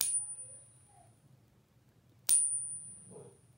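A 1988 copper-nickel clad quarter is pinged twice, each strike giving a bright, high metallic ring. The ring fades fairly quickly, marking the coin as ordinary modern base-metal coinage rather than precious metal.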